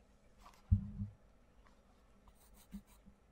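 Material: Paper.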